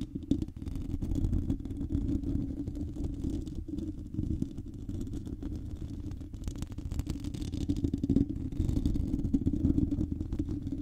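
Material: Metal mesh.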